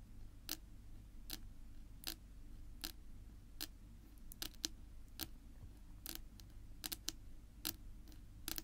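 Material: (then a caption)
Wood. Long pink nail tips tap a flat, solid, dark wood-grain tabletop, making short, dry, bright clicks that die away almost instantly. The taps come at an uneven, loose rhythm, sometimes in quick pairs, over a steady low rumble.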